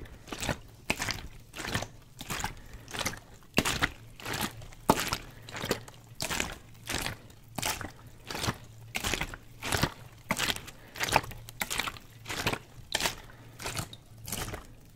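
A clear plastic water bottle, partly filled with water and held in both hands, is shaken and squeezed. Rapid, uneven bursts of bright crinkling plastic mix with sloshing liquid, alongside a faint steady low hum. The quiet, close-up sound repeats in short pulses throughout.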